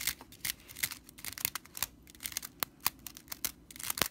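Long purple nails scratch along the bundled dry straw of a broomcorn straw whisk broom near its metal-capped handle. A quick, uneven run of sharp, dry, crackly scrapes is heard, bright and hissy with almost no low end and no ring after each stroke.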